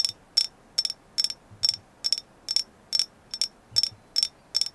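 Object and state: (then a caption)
Agate slice tapped with nails. A thin, flat, hand-sized solid painted agate slice is tapped with long nails, giving 13 short, bright clicks at an even, unhurried pace. Each tap is crisp and high-pitched and dies away almost instantly against a quiet background.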